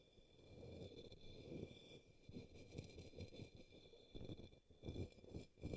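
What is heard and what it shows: A brush tip sweeps across the base of an upside-down, empty, hollow pink opaque plastic cup or small bowl resting on a green towel. Soft, low, hollow brushing strokes swell and fade in a rough rhythm, over faint steady high tones.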